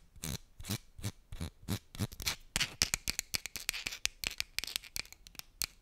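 Long nails tap and scratch the surface of a small, empty-looking blue and white cardboard medicine box held close to the microphone. The result is a quick, irregular run of crisp, dry clicks with a bright, papery scratch between them, each tap dying away almost at once.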